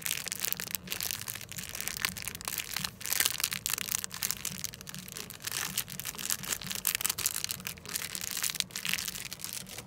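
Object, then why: Plastic foil wrapper packet. A small, flat, blue-and-white printed Crest plastic-foil packet is held in one hand with long lilac-painted nails and squeezed and crushed by the fingers rather than tapped. It gives a continuous bright, crisp crinkling that rises and falls in short bursts for about ten seconds, with almost no low end.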